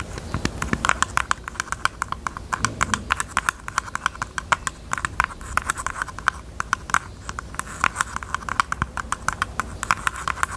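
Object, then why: Jewelry box. A pink jewelry box is tapped rapidly with the fingers, producing a steady stream of quick, dry clicks. Each tap has a hollow tone around 1.1 kHz with a bright edge and dies away almost instantly over a faint low background.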